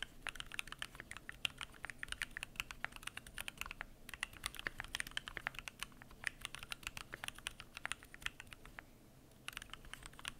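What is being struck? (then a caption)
Mechanical keyboard with aluminium case and PBT plastic keycaps. Fingertips type continuously on a Keychron Q1 aluminum mechanical keyboard with PBT plastic keycaps, producing a rapid, uneven stream of short, crisp clacks with a bright, dry edge and almost no ring. The typing pauses briefly near the end, then picks back up.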